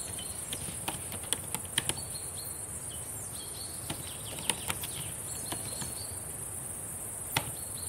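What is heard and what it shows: Long painted nails and fingertips tap on the plastic keys of a black laptop keyboard, giving scattered sharp, quick clicks that die away almost instantly. A steady bright, insect-like hiss and faint high chirping tones run underneath throughout.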